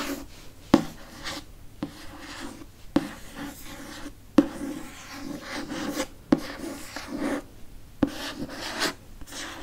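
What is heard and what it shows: Fingernails scratch and rub across the glossy cardboard cover of a solid, dark hardcover Harry Potter book with a hippogriff on the cover. A steady, dry rasping texture runs throughout, broken by several short, sharp taps that die away almost instantly.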